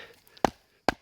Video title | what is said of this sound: Ma Cabane Au Canada 05 Couper Du Bois | c'est du bon bois parce que il est sec. Ça sonne bien